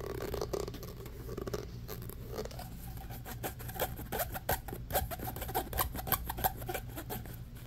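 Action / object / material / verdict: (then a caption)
scrape / corrugated plastic pop tube / plastic / none. An orange, hollow, corrugated plastic pop tube is held in both hands while fingernails scratch fast along its ribbed surface and the tube is stretched. The result is a quick, dry rasping scratch over a low steady hum, with a run of sharp crackling clicks and pops in the second half.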